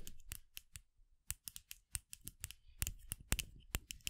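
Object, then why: Short hollow bamboo piece. A short hollow bamboo piece, a cosplay muzzle for the character Nezuko, is held in the hands next to a microphone and tapped with long acrylic nails. About 20 quiet, sharp clicks with a faint low thump come in an irregular rhythm, each dying away almost at once.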